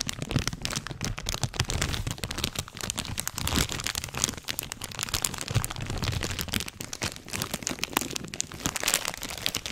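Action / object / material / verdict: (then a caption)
scrape / flexible plastic candy bag / plastic / none. A medium-sized flexible plastic/foil-laminate Sour Patch Kids candy bag, closed and partly full, is held in both hands right in front of the microphone and squeezed and crinkled with the fingers. The result is a dense, continuous stream of bright, sharp crinkles and crackles with short, dry snaps and a low rustling underneath.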